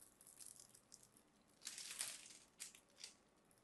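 A small knife blade carves and scrapes a palm-sized solid cream soap bar stamped with a logo, held in hands with dark-painted nails, and crumbly pieces fall off. The sound is soft, bright, crisp scraping and crumbling with almost no low end, swelling into a louder rasp in the middle and then a few shorter scrapes before fading.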